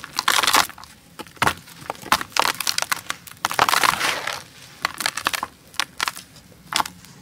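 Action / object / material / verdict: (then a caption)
scrape / molded sand-cement mound / sand-cement / none. A solid, dry, beige molded sand-cement dome is pressed by thumbs, lifted and crumbled by hand into a green basin. Bursts of gritty, bright crushing and crumbling come with short sandy pouring, with almost no low end and no ring after each break.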